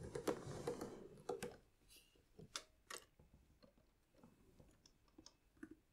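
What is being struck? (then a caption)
Celluloid-covered piano accordion with plastic keys and buttons. Fingertips press and tap the bass buttons and then the plastic treble keys of a hollow, red pearloid celluloid-covered 72-bass piano accordion. About ten soft, dry clicks with a hollow, mid-pitched knock are heard at an uneven pace, with a brief noisy rustle at the start before the taps grow quieter and more spaced out.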